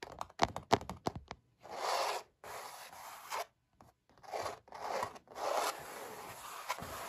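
Fingertips and short nails, with a metal ring worn, tap and then rub and scratch across the textured paint of a stretched oil-painted canvas. A quick run of sharp, dry taps opens the clip, followed by longer, hissy scraping strokes with brief pauses between them. The sound is bright and papery with almost no low end.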